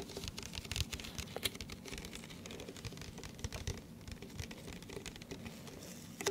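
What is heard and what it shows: An empty, hollow, hand-sized clear plastic cup, the iced-coffee kind, is held in both hands close to the microphone and tapped and scratched with the fingertips and nails. The result is a steady stream of quick, dry taps and scratchy rustling, with short bright clicks over soft low thumps. A few sharper taps stand out now and then.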